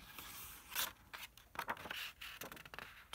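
Fingertips rub and sweep across the right-hand printed paper page of an open 1974 hardcover book on Victorian parlor games, held flat by hands, and then the page is turned. The sound is a dry, bright, papery scraping and rustling in quick uneven bursts, with almost no low end and sharper crackles as the page lifts and turns.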